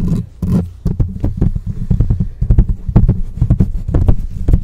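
Long nails and fingertips rapidly scratch and tap on the rounded metal mesh grille of a black microphone with a hollow head. The result is a dense, irregular run of deep, boomy thumps and rumbling scrapes, with sharp, brief clicks that flash up into bright highs.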